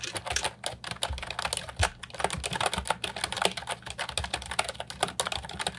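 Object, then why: Plastic mechanical keyboard with round keycaps. Continuous fingertip typing on the round keycaps of an Ajazz 308I brown and white plastic retro mechanical keyboard with a hollow body, resting on a wooden desk. A rapid, steady stream of short, bright, clacky key strikes sounds with a faint hollow low thump beneath them.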